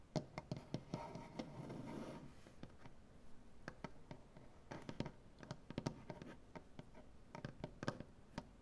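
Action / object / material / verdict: tap / maple butcher-block table / wood / none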